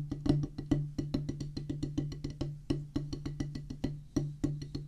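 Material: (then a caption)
Rubber. Two wooden drumsticks play a solid oval drum practice pad, a black rubber top on a pressboard/wood base, in a fast, uneven run of strokes. Each hit is a dry, short, woody tap over a steady low tone, with occasional louder accents.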